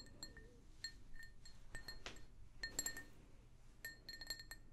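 An empty, hollow pink glazed ceramic mug, held in both hands, is tapped repeatedly with long nails. Each tap gives a light, bright clink with high ringing tones that fade almost at once, over a quiet low background rumble.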